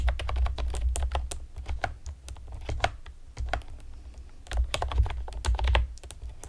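Long painted nails and fingertips rapidly tap a pastel plastic typewriter-style computer keyboard with round retro keycaps and hollow keys. The result is a fast, uneven stream of sharp, bright clicks that die away almost instantly, over a steady low hum. Bursts of harder, louder clacks come near the start and again toward the end.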